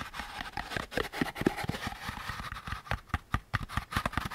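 Fingertips tap and scratch the curved surface of a hollow beige molded paper pulp cardboard packaging insert with a central groove. About two dozen soft, dry, hollow taps land at an irregular pace. Papery scratching fills the gaps between them, and each tap dies away almost at once.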